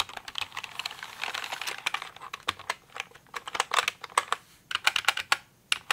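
A pink plastic mechanical computer keyboard, tilted toward the microphone at times, has its keys tapped with fingers and nails. Quick, dry, bright clicks come in rapid bursts that thin into sharper, separate taps with short pauses, with no low-end thump.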